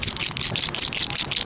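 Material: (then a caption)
Metal. A paint marker is shaken, and the metal mixing bearing inside rattles back and forth in a quick, steady series of bright, high-pitched clicks. The rattle is continuous and dense across the clip, sounding as a normal shake before use.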